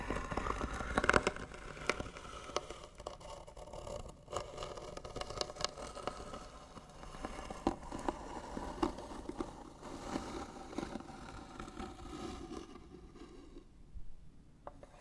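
Short fingernails scratch slowly and hard across the lid of a hollow white wooden box, making a dry, rasping scrape with a woody midrange tone. Sharp clicks and taps punctuate the steady scratching, and it thins out and quiets toward the end.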